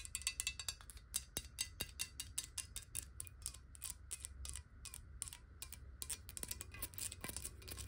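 Long nails and fingertips rapidly tap and rub near the base of a tilted, clear glass bottle filled with water. The result is a quick, uneven stream of short, bright clicks with almost no ring, over a soft low rumble and faint rubbing.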